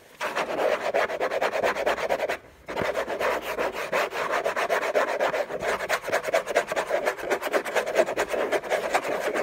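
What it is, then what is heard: Cardboard gift box scratched with fingernails. Fingernails scratch fast across a hollow, rigid orange textured-paper cardboard gift box resting on a rug. The scratching is a dense, continuous rasping, strongest in the midrange with some brightness, with a brief pause near 2.4 seconds before it resumes just as intensely.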